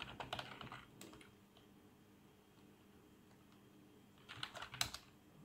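Fingertips of both hands type fast on a full-size black plastic membrane keyboard with RGB backlight and a hollow housing. A flurry of quick, bright, clacky keystrokes opens the clip, fades into a near-silent stretch of low hum, then a second short burst of key presses returns near the end. Each press is dry and short, with almost no ring.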